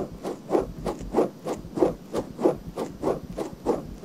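Long nails scratch the outer ear and ear canal area of a pale pink silicone binaural microphone ear held by hand. Soft, dry scratching strokes repeat in a steady rhythm of roughly one and a half per second. Each brief burst is centered in the low-mid range, with quieter rubbing between strokes.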